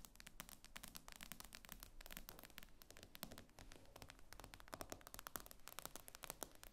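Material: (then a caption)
Glass. Long painted fingernails tap rapidly on the black glass screen of an iPad lying flat on a table, its aluminium frame solid beneath. The result is a quiet, continuous flurry of sharp, bright clicks with almost no ring, over a steady low rumble.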